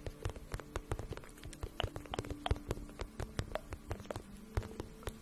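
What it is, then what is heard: Vinyl pouch tapped with fingernails. A medium, flat pink pencil-case-style pouch of shiny patent vinyl, hollow and apparently empty, is held in both hands and tapped and scratched with long painted nails. The result is a steady stream of soft, quick, dry taps and light scratches with a dull, low-weighted body and almost no ring, over a faint low hum.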